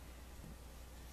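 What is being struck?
Nothing is struck.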